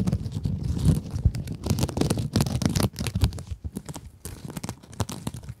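Long acrylic nails scratch across a rectangular pink scrub sponge, a glittery woven synthetic mesh over a soft foam core held upright. Dense, irregular scratchy crinkling rasps carry low rumbly weight and brief bright crackles. It runs in uneven bursts and softens toward the end.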